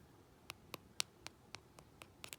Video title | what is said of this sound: HOW TO Ombré using Dip Powder | That little thud. So that tells us that the activator is not set.